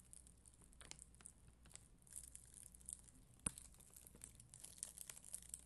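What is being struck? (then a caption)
Acrylic rhinestones on a sticker sheet. A spoolie brush scratches across an acrylic rhinestone sticker sheet with red and clear acrylic gems on white backing. The quiet, dense, bristly scratching has a bright, crinkly texture, with a sharper click at about 3.5 seconds.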